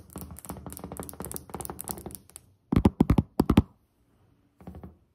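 A solid white glazed ceramic tile countertop is tapped with the fingertips and long nails of both hands, starting with a fast, uneven flurry of light, dull taps with short clicky edges. In the middle the hands come closer, and the taps turn into a few louder, fuller thunks with a low body. After a short silence, a faint brief cluster of taps closes the clip.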